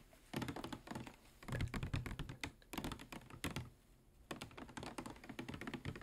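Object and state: Plastic water bottle tapped with fingernails.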